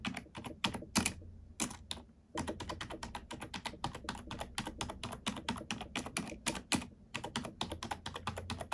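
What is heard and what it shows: Long nails and fingertips type on a black plastic computer keyboard, producing a fast run of bright, clacky keystrokes with short pauses between bursts. A low hum sits steadily underneath.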